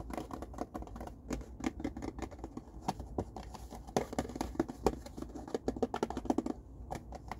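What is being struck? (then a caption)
Cardboard tissue box. Fingertips and nails tap and scratch the sides of an empty blue printed cardboard tissue box with an oval opening, small and hollow, held in both hands. A rapid, uneven patter of short, dry, hollow taps mixes with soft scratching. The taps are a quick series with a papery low-mid body and brief bright clicks that die away almost at once.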